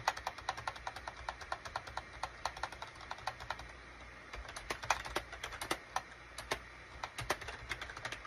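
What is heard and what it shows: A full-size gray SHIPADOO K600 wired USB keyboard, with a gray plastic case and cream, gray and orange plastic keycaps, is typed on with the fingertips of both hands. The result is a quiet, rapid stream of short, crisp plastic key taps with a bright click. The typing eases briefly around the middle before picking up again.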